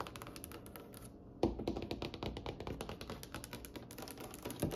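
Fingernails tap rapidly with both hands on a polished dark wooden table with a glossy varnished solid wood top. The dense, dry clicking has very little ring and pauses briefly just after one second. It resumes with a sharper, louder tap and continues busily to the end.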